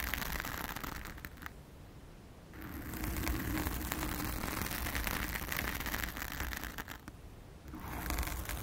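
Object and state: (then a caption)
Foam microphone windscreen being scratched. Long acrylic nails of both hands scratch a blue foam cover on a round studio microphone, making a dense, continuous crackly scraping with a deep low rumble and a bright hiss. The scratching eases into quieter, duller passages around the two- and seven-second marks, then returns at full strength.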